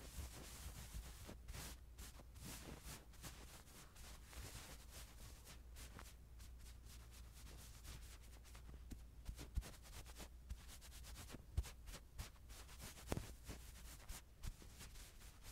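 The metal grille of a mini microphone is rubbed over the head and chest of a small white stuffed plush doll with soft fur, held in hand. Quiet, close, crackly brushing and scratching sweep through the clip over a steady low rumble, with a few sharper scuffs standing out near the end.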